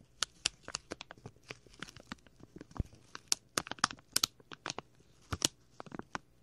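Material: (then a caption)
Plastic. A small, clear plastic packet with a label is rubbed and crinkled with fingers and a thumbnail right beside the left microphone ear. About 19 sharp, dry crinkles and clicks pop out of a soft rustle, each bright and crisp with almost no ring. The overall level stays fairly quiet.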